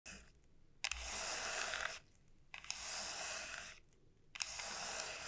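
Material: Dried gourd.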